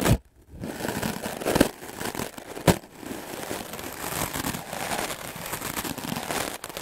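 A white melamine foam sponge block, held in the fingers, is brushed fast with a wooden-backed clothes brush. It makes a steady, dense, scratchy rustle that spans low to bright tones, with a brief pause near the start and two louder swipes standing out.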